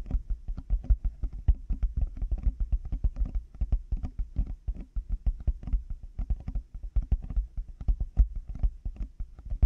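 Large black plastic over-ear headphone earcups fitted on a binaural microphone are tapped rapidly with the fingertips and nails of both hands. The hollow shells give a fast, uneven patter of deep, muffled thumps, each dying away almost at once, with faint clicky edges.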